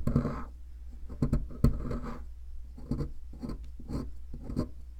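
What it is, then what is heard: Plaster fossil excavation block. A metal pick scratches and scrapes inside the crumbly center cavity of a solid white plaster fossil excavation block. The result is a series of short, gritty scraping strokes with sharp clicky bursts that reach high, over a steady low hum.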